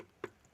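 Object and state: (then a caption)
Metal motorcycle fender. A metal fender on a Royal Enfield Shotgun 650 motorcycle, not plastic like many modern motorcycles, is tapped. It gives a single short, dry tick with a mid-pitched knock around 370 Hz that dies away almost at once.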